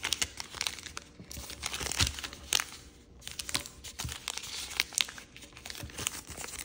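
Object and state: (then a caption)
Origami paper being folded. A white and red patterned chiyogami origami paper sheet, folded into a crane base, is creased and rubbed along its folds by fingertips and nails. The result is a steady run of bright, dry crinkling and rustling, broken by sharper crisp snaps as the creases are pressed.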